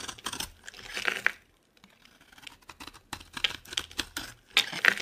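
A solid, dry, palm-sized oval bar of orange Palmolive soap is held in the hand and carved with a metal box-cutter blade, peeling off flakes. Bursts of crisp, bright scraping and crackling come in quick strokes, with a brief quiet pause after the first second, then resume with sharp, dry snaps.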